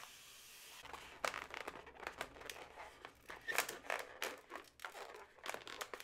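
Long nails tap and scratch hollow segments of a yellow inflated latex modelling balloon, which is also rubbed and squeezed. After a brief steady hiss, a quick run of short, bright, crinkly squeaks and scratchy rubbing sounds follows, each dying away almost at once.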